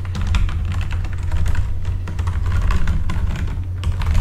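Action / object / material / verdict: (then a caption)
tap / plastic mechanical keyboard / plastic / none. Fingertips type steadily on a full-size backlit mechanical keyboard with plastic keycaps, the hand moving across the keys. A rapid run of short, dry clicks and clacks rides over a constant deep low hum.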